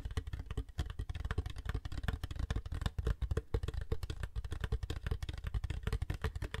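Long white nails tap and scratch a large, hollow, seemingly empty purple-gradient frosted plastic water jug with volume markings and a flip-top handle lid. A rapid, steady stream of soft, dull taps produces deep, boomy low thumps that die away almost instantly, mixed with light scratching.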